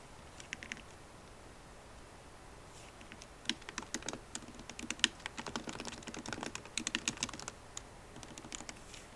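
Plastic keycaps on a MacBook Pro keyboard set in an aluminum body are typed with long nails and fingertips, giving quick, bright, clicky taps that start sparse and then run in dense, irregular bursts. The taps thin out near the end as the right hand moves toward the trackpad.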